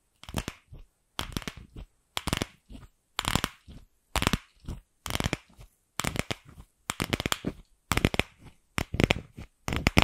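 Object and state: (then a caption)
Hollow plastic ball. Long pink nails tap and scratch the surface of a single empty, palm-sized pink hollow plastic ball held in the hand close to the microphone. Quick clusters of crisp, bright clicks and scratchy rasps come in irregular bursts separated by brief silences, each tap dying away almost at once with a faint hollow thump underneath.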